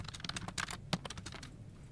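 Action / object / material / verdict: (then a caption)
tap / plastic computer keyboard / plastic / none. Fingertips of both hands type on a full-size plastic office keyboard resting on a desk, its hollow plastic case and key switches giving a quick run of short, crisp key-press taps. Each tap is a sharp, bright click over a low thump, fading almost at once with a steady low hum underneath.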